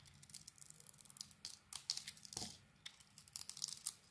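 A utility knife blade shaves and scrapes thin curls off a hand-sized Isana bar soap, black and glittery on the outside and white inside, held in the palm. The sound is a quiet run of crisp, bright scraping and crackling ticks, almost all high in pitch with very little low end. Each scrape dies away almost instantly, with brief pauses between bursts.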